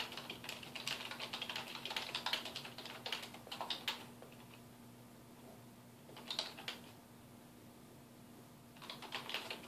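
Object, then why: Plastic computer keyboard. Fingertips of both hands type on a black plastic computer keyboard resting on a wooden desk, making rapid, bright, clicky key taps in irregular bursts. A long run of typing fades into a quiet pause with a faint steady hum, then a short flurry follows, and a final burst of taps comes near the end.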